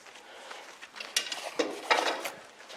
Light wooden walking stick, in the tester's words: Le truc, il est creux. Ça sonne creux.